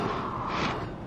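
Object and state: Nothing is struck.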